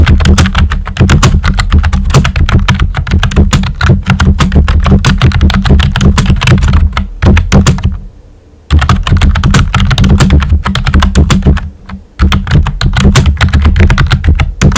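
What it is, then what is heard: Plastic computer keyboard. Fingertips with short nails type steadily on a full-size pink plastic keyboard with a hollow body and round white typewriter-style plastic keycaps. The result is a rapid, dense stream of deep, hollow clacks and thunks, heavy in the low end, with brief pauses near the middle and again toward the end.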